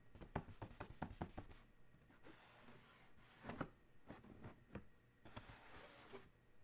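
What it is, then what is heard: Cardboard shoe box tapped. Fingertips tap and scratch near the logo on the closed lid of a large, hollow black cardboard Adidas shoe box. A quick run of soft, dull taps opens the clip, followed by stretches of airy scratching broken by a few more hollow knocks.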